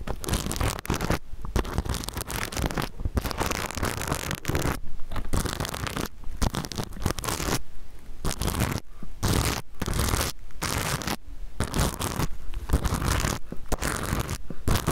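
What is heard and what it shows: Fingernails scratch back and forth across the plastic sequins of a small rainbow reversible-sequin pouch held near the mic. The result is a dense, crackly scratching and rustling with a heavy low rumble, in bursts broken by brief pauses.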